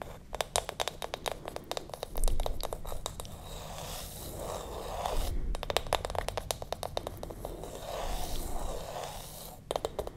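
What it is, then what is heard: Wooden lid of a candle jar. Long acrylic nails tap and scratch across the flat bamboo or wooden lid of a small glass candle jar held close to the mic. Rapid runs of crisp, bright clicks alternate with softer, steady scraping swells, all over a low background rumble.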